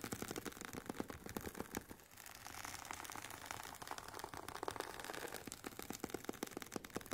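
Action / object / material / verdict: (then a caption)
scrape / semi-rigid headphone case with woven nylon cover / nylon fabric / none. Long painted nails tap and scratch the fabric top and rim of the oval, semi-rigid, hollow carry case for Sony WH-1000XM4 headphones, which has a woven nylon fabric cover. Quick, dry clicking taps with almost no ring give way to a stretch of softer, continuous scratchy rustling. Then the rapid tapping returns.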